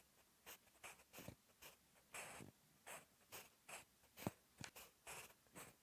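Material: Paper.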